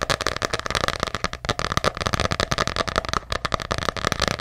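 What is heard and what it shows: Fingernails tap rapidly on the embossed cover of a small, ornate hardcover journal. The result is a steady stream of dry, crisp clicks with a hollow mid-range knock around 550 Hz and bright edges, each tap dying out almost instantly.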